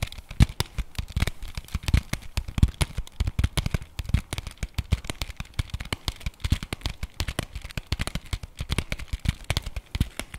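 A flat, printed cardboard chocolate bar box, held in the hands, is rapidly tapped and scratched with fingernails along its edges and face. The sound is a dense, continuous stream of short, dry clicks and soft low thumps with a faint scratchy hiss. Each tap stops almost instantly with no ring.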